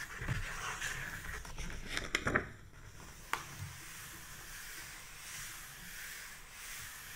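An open paperback-style book lies flat while fingertips and a flat hand brush and scratch back and forth across its paper pages. The result is soft, papery hissing swishes with a few sharper scratchy ticks, the loudest cluster just past the two-second mark, over a quiet, steady background.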